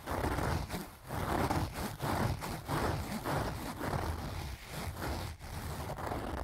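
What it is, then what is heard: Fabric zipper pouch. Fingers and nails scratch and rub across the fabric front of a closed, filled pink leaf-print cloth zipper pouch. The result is a steady, low, muffled rustling and scraping in repeated strokes, with brief dips between passes.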